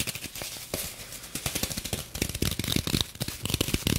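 Long nails tap, scratch and dig into the surface of a rectangular green floral foam block wrapped in clear plastic. A rapid, dense run of short, dry crackling taps and scrapes blends low thuds with bright plastic crinkle, and it grows louder and busier in the second half.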